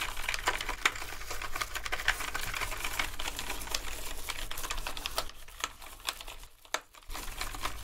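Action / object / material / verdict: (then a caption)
scrape / plastic computer keyboard / plastic / none. A toothbrush scrubs the keys of a black plastic gaming keyboard covered in foam, making a dense, bright scratching and rustling with frequent sharp clicky taps over a steady low hum. The scrubbing thins out and drops quieter for a moment near the end, then picks up again.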